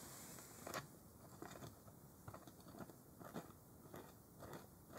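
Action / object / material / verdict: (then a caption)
scrape / plastic jug cap / plastic / none. Fingers twist and scrape at the plastic cap of a large white plastic Clorox bleach jug held upright. Quiet, crunchy scraping and crackling clicks come in short bursts over a low background hiss, with a few sharper, brighter snaps.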